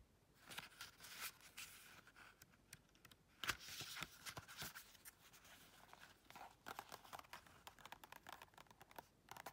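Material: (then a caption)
Paper. Long red nails riffle and flip through the paper pages of a small paperback colouring book. The result is quiet, bright, crisp papery rustling broken by many short flicks and ticks, with a louder swish near the middle.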